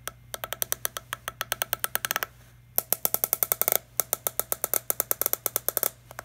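Fingertips tap and scratch the green screw cap and hollow body of a small, empty, clear PET plastic water bottle. About 45 quick, dry, bright clicks come in rapid runs, with a brief scratchy rustle near the middle and a faint steady low hum underneath. Each tap dies away almost instantly.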